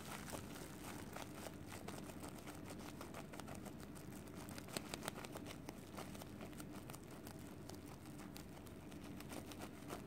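A solid ball of cooked white rice wrapped in clear plastic film is held in both hands and squeezed and pressed with fingertips and long nails. The result is a quiet, steady crinkling of the film with scattered sharp clicks and a soft, dull low body throughout. The rice gradually flattens into a disc.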